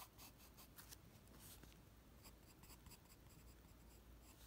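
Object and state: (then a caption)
Sheet of drawing paper being sketched on. A graphite pencil held in the fingers draws on a flat white sheet of drawing paper resting on a desk, sketching the lines of the Ghostbusters logo. Soft, dry scratching strokes come in bright bursts over a low, steady hum, and the level stays quiet throughout.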